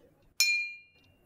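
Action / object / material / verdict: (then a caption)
strike / glass drinking glass / glass / none. A drinking glass is struck once, giving a bright, high-pitched clink with a clear ringing tone around 2.4 kHz. The ring fades out over roughly half a second.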